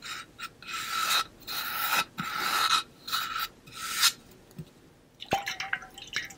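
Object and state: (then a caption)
Hollow metal water bottle. A hollow pink-blue ombre painted metal water bottle, possibly holding some water, is held close and worked with fingernails. Several bursts of bright, raspy scratching carry a steady metallic ring near 1.3 kHz. These give way to a quieter stretch and then a string of sharp fingernail taps, each with a short, pitched metallic ring.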